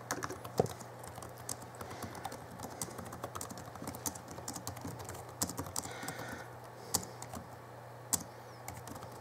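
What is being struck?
Plastic laptop keyboard keys.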